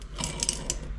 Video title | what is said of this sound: Polaris SLT 750 engine tear down | crank bearing is bad that's where all your metal came from you can hear it shaking it